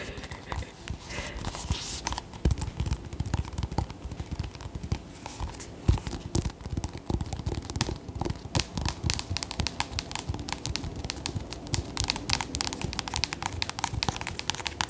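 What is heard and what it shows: A whole ribbed orange acorn squash with a hard, hollow-sounding rind is held in both hands and tapped with long nails. Rapid, continuous tapping produces short, dry clicks over a dull, hollow low thud, with each tap dying away almost instantly.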